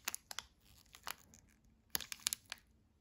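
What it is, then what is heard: Crinkling plastic candy-bar wrapper. Gloved fingertips hold and turn a full, unopened Almond Joy candy bar of about 45 g sealed in a blue and white plastic film wrapper, rubbing and crinkling the wrapper while a knife lies unused nearby. About nine sharp, bright crackles and snaps stand out in quick, irregular bursts over a faint, soft rustle. Each crinkle stops almost instantly.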